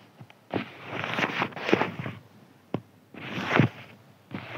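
A thin white crinkly paper sheet is scratched with fingertips and nails. Bursts of dry, crackling scratches come in uneven strokes, with a few short ticks in the pauses between them.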